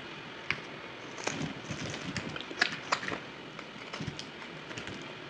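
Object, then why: Bar of soap cut with a knife. A solid, crumbly dry white bar of soap is cut and scraped with a yellow utility knife, sped up to double speed. Sharp, bright clicks and snaps stand out over a steady crumbly scraping hiss, with little low end.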